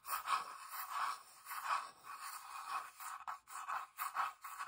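Long nails tap and scratch the flat wooden underside of a small hollow box with felt feet and a sticker. Quiet, dry scraping strokes with a mid-range hollow tone around 1.1 kHz alternate with a few sharper taps, all thin with no low end and bright hiss above.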